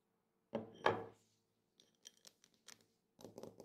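A drinking glass is tapped, giving two louder clinks followed by a run of lighter, quicker taps and a final cluster of clinks. A faint ring around 457 Hz lingers beneath the taps.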